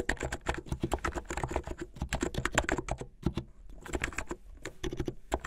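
Fingertips type fast on a plastic mechanical keyboard with white and blue plastic keycaps, producing a rapid stream of short, crisp keystroke clacks with a low, solid body. A brief lull around the middle interrupts the typing before it quickly resumes, with each hit dying away almost instantly.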